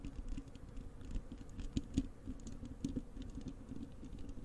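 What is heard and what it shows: Long acrylic nails on both hands scratch and tap the bare, hollow wire-mesh metal grille of a large desktop microphone. The result is a dense, quiet patter of quick scratchy clicks with a low, boomy body around 270 Hz and faint bright ticks. A few stronger taps stand out near the middle.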